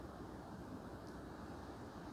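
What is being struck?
Nothing is struck.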